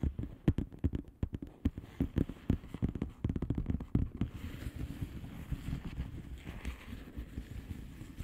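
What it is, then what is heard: Plastic bubble wrap mailer. Long painted nails on both hands tap and scratch the bubbles of a blue plastic bubble wrap mailer lying flat. Quick, sharp, dry clicks come first, then after about four seconds they give way to a softer, steady scratching rustle. The sound is mostly low and dull throughout.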